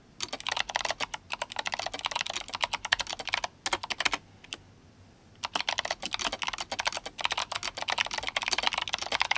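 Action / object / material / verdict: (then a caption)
tap / mechanical keyboard with plastic keycaps / plastic / none. Fingertips of both hands type fast on an RGB-backlit GMMK Compact mechanical keyboard with clicky Kailh Box White switches and plastic SA keycaps. The result is a dense stream of sharp, bright clicks with almost no low end. It pauses briefly near the middle, with one lone click, before fast typing resumes.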